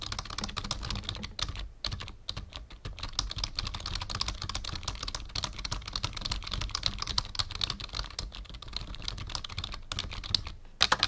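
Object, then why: Plastic membrane computer keyboard. Fingertips of both hands type steadily on a black full-size plastic membrane keyboard with a numpad, resting on a wooden desk. The rapid, dense stream of short, dry, bright key clicks with dull low thuds from the desk keeps on with only brief pauses. A few louder taps come right at the end.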